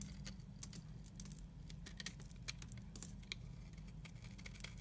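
A utility knife blade shaves flakes from the end of a solid red and pink striped soap bar held in the hand. Quick, dry crackling scrapes and brittle ticks come in a steady run over a constant low hum. The flakes break off crisply with bright, short clicks and no ringing.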